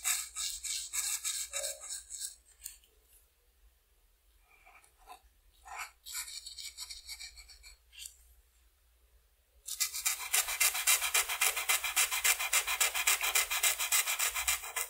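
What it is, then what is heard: Felt-tip marker colouring on paper. A blue felt-tip marker rubs small areas of a flat white paper coloring sheet with short strokes, making bright, scratchy rasping sounds. Bursts of strokes alternate with quiet pauses in the first part. From about ten seconds on, the strokes turn into a steady, fast rhythm of louder scratching.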